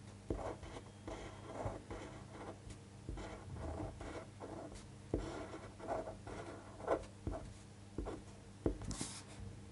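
A fine-point pen tip scratches and strokes across a thin white paper sheet lying flat on a table while writing. The quiet, soft strokes come as short bursts of scratchy friction with a low steady hum underneath, with a brief bright swish near the end.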